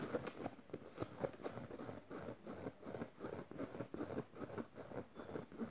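Fingernails scratch and pick at the metal studs and fabric of a black canvas tote bag lying flat, with a beaded bracelet on the wrist. The result is a quiet, steady run of short, dry scratching and tapping bursts, mostly in the low-mid range with little brightness.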